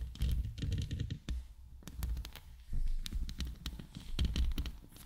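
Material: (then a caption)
Steel mesh. Long nails scratch and tap the top and sides of a hollow steel mesh microphone head. The result is a close, heavy low rumble with quick, sharp taps and bright scratchy clicks that die away almost at once.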